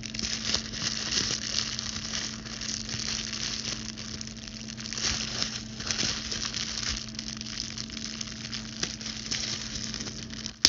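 A large sheet of clear plastic bubble wrap is held up in both hands while its air bubbles are squeezed, scratched and popped with very long, pointed blue acrylic nails. Dense, bright crinkling and crackling runs steadily throughout over a faint low hum, with scattered small pops and one sharper pop near the end.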